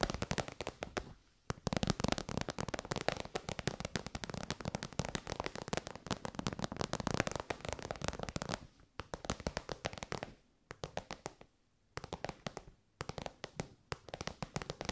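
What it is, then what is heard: Faux-leather pouch tapped with nails. Long white nails tap rapidly on the top and end of an elongated, shiny pink metallic faux-leather pouch, soft and hollow. The result is a dense, crackling patter of short, dry clicks with a soft low thump beneath, broken by several brief pauses.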